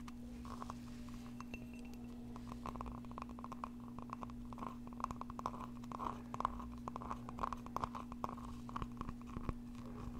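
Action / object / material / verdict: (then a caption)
tap / thick-walled glass mug / glass / none. Long painted nails and fingertips tap and scratch the outside wall of a small, thick-walled glass mug with a flower print and a handle, apparently empty and held in one hand. A quiet, dense run of light clicks and scrapes carries a faint glassy ring near 1 kHz over a steady low hum. Each tap dies away almost instantly.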